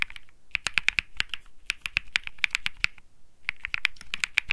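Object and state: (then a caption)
Mechanical keyboard with plastic keycaps. Fingertips type continuously on a cream mechanical keyboard with plastic keycaps, producing sharp, bright clicks centered around 2.4 kHz. The key presses come in quick bursts with a short pause near three seconds, and each stroke is dry with almost no ring.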